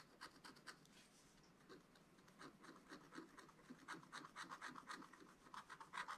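The pointed tip of a wooden stylus, held in the fingers, scratches across a flat, thin, wax-coated scratch-art page with a black coating over colored paper, in a spiral-bound book lying on a table. It makes quiet, dry, bright scratching strokes in an irregular run of about four per second, each dying away almost at once.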